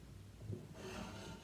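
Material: Nothing is struck.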